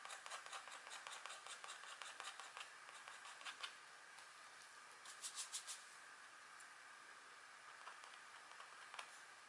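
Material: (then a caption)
Wax coating. A fine pointed green stylus, held in long-nailed hands, scratches small strokes into the black coating of a flat, thin wax-coated scratchboard card. Quick, bright, dry scratches come in dense bursts for the first few seconds, then sparser strokes with a short cluster midway and a final sharp scratch near the end, with no low end.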